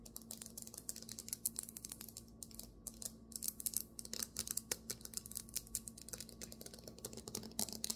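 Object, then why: Marble table top. Fingernails tap and scratch quickly on a marble table top, making a dense run of short, bright, dry clicks with almost no ring and brief scraping bursts between them. A faint, steady low hum sits underneath the quiet tapping throughout.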